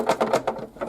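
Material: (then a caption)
Wood. An acoustic guitar with a wooden body is shaken after its headstock repair, and a loose object rattles inside the body in five quick, dry, mid-pitched bursts. The rattle means something is loose inside that shouldn't be; what the object is isn't identified.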